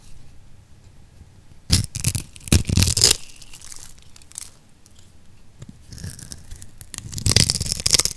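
A solid oval magenta bar of dry soap is held in the palm, scored in a grid and scraped with a metal blade, breaking off crumbly chips. Bursts of bright, crisp crunching and tearing scrapes stand out against a quiet background, with a loud cluster around 1.7–3.1 seconds and another toward the end.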